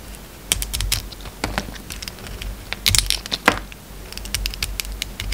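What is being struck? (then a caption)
Bar of soap. A utility knife blade carves flakes off a solid peach bar of soap with red edges. The cutting and scraping make a quick, irregular run of crisp, bright ticks and crackles with very short decay, some sharper snaps standing out over a faint low hum.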